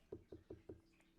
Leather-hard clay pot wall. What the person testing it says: If you ever want to check if there's a lot of clay, just tap it so you can hear.